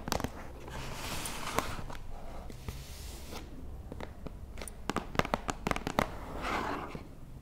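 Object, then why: Closed cardboard box. Fingertips and nails tap and scratch the lid and edges of a closed, hollow, book-sized white cardboard box with a "We" logo, lying on a wooden table. Sharp, dry taps stand out over a soft, continuous scratching rustle. Each tap dies away almost at once, and the whole clip stays quiet.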